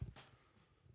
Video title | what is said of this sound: I'm so PUMPED (pun intended) about this! // Cottage reconstruction part 4 | if you knock it it sounds like sheetrock but basically it's not